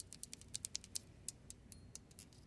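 A fingertip with a long light-pink nail turns the ridged knob of a silver metal combination dial on a safe, which has a numbered ring. The nail clicks against the metal. The result is a quiet, rapid, irregular series of sharp, bright, dry ticks that stop instantly, over a faint low hum.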